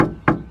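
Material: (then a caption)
Plastic. Two knocks on the inside panel of a Nissan Xterra tailgate fitted with sound deadening (bits of Dynamat and underhood heat foam on the back of the panel). Each knock is a short, dull, low-mid thud that dies away quickly, sounding solid and less hollow than the panel did before.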